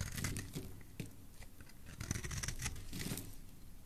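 A utility knife blade scrapes and carves a solid oval pink soap bar held in the hand, shaving it into flakes. Rapid, uneven scraping and cutting strokes give crisp, crackly tearing sounds with bright edges over a dull low body.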